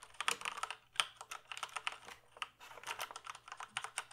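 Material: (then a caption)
Plastic. Fingertips type on the keys of a full-size plastic computer keyboard held up in the air, making a rapid, uneven run of light, clicky taps. Each tap is short and dry with a bright, high clatter and almost no low end, and some keystrokes land harder than others.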